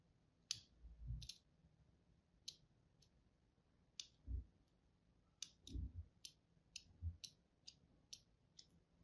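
A thin blade tip is drawn across a solid, palm-sized, green-and-white striped bar of soap held upright, scoring lines into its surface. About a dozen short, crisp, bright scratching clicks are heard, some paired with soft low thuds.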